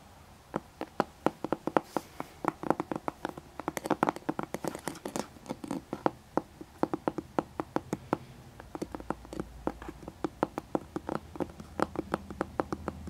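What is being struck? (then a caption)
Hardcover book cover. Both hands tap the closed, flat-lying cover of a thick hardcover book, with a dark cover, an embossed gold emblem and a ribbon bookmark, using fingertips and nails. The result is a long, steady run of quick, dry taps, each a short midrange click that dies away almost instantly. A faint low hum sits beneath the taps.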